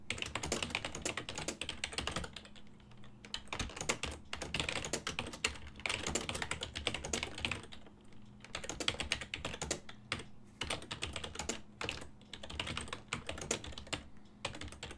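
A full-size silver-and-black plastic desktop keyboard with hollow key switches is typed on with fingertips, producing continuous bursts of short, bright, dry key taps with brief pauses between runs. A faint steady low hum sits underneath the clatter.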